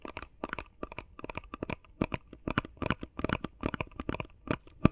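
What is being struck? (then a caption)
Face mask box of plastic and cardboard. Fingers tap quickly on a face mask box made of plastic and cardboard. A rapid, uneven stream of short, dry taps sounds hollow and crinkly, with a low thump under bright clicks. Each tap stops at once with no ring.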